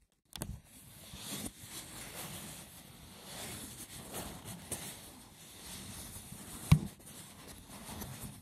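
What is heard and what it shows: Fingertips with short nails tap and scratch the textured top of a small rectangular woven seagrass or wicker box with a lid, resting on a wooden table. A steady, low, rough scratching runs throughout with a soft hiss, broken by a few quick dull taps. The sharpest and loudest tap comes near the end.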